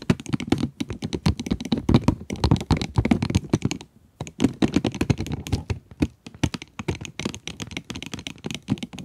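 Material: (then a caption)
Cardboard, plastic. Long nails tap rapidly on the plastic window and cardboard of a full pencil box, producing dense, short, dull clicks with a low, thumpy body and very little ring. The tapping runs steadily, pauses briefly near the middle, then resumes at the same quick pace.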